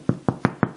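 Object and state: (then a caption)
Baked bread loaf, hollow (done). Five knocks on the crust of a finished no-knead bread loaf give short, hollow thumps with a low, resonant body and almost no ring. The hollow sound shows the loaf is baked through; when cut open, its crumb was a little denser than expected but still okay.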